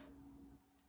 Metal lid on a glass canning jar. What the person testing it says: I get excited when I hear that ping sound because that means that we're getting a good seal.